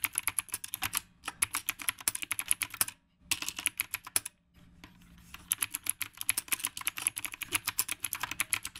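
Fingertips type fast on a retro typewriter-style mechanical keyboard with round plastic keycaps, producing rapid bright, clicky keystrokes that stop almost instantly. The bursts of typing break off for brief pauses around one, three and four and a half seconds before continuing.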